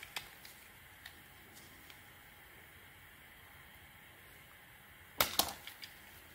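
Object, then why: Soap bar shaved with a metal blade. A metal blade shaves small flakes off the surface of a solid, round, purple, textured soap bar. A few faint, crisp ticks break a quiet hiss. Near the end come two sharp, bright cracks with a short scraping rasp, followed by softer clicks.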